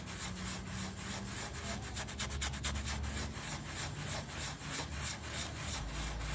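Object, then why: Small foam-covered pile rug scrubbed with a toothbrush. A small round miniature pile rug, covered in foam and resting on a tile floor, is scrubbed with a yellow toothbrush held in the fingers. The steady back-and-forth strokes make a bright, bristly rubbing hiss that runs continuously over a low hum.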